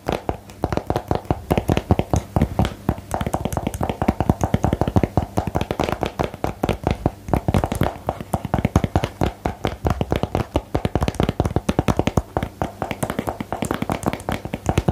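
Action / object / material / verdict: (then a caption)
tap / small cardboard box / cardboard / none. A small, hollow, rectangular cardboard box for the "Geheimakte" card game is held in both hands and tapped with long nails and fingertips. The result is a steady stream of short, dry, hollow taps with a dull low thump and very little high brightness, running the whole clip.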